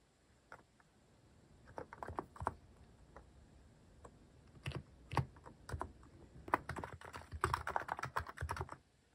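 Fingertips type on a mechanical keyboard with a white plastic case and cat-shaped plastic keycaps, resting on a wooden desk. Short, crisp clacks come in irregular bursts with pauses between them, each keystroke dying away almost instantly. The typing grows denser toward the end.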